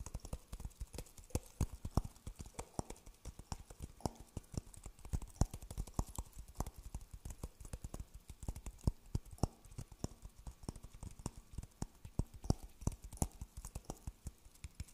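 An empty, dry coconut shell half is held in front of a fuzzy microphone and tapped with the fingertips on its outer husk. A rapid, uneven stream of short, dull, hollow knocks is heard, deep and thumpy, each dying away almost instantly.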